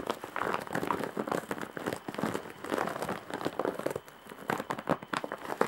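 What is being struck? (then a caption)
Woven straw bag with embroidery. Long nails scratch across the surface of a large woven straw/jute bag with embroidery, making dense, dry crinkling and rustling in rapid bursts. The scratching is mostly mid-range with little low end, briefly softens around the four-second mark, then picks up again with sharper strokes.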